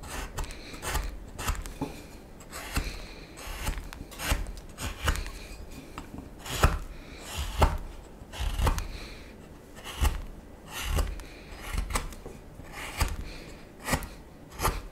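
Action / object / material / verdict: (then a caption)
scrape / wooden spoon blank / wood / none. A solid wooden spoon blank, held in the hand, is whittled with a small knife in scraping cuts. A steady series of short, dry scraping strokes rasps across the wood, each stroke carrying a low thump and a brief bright edge that stops dead with no ring.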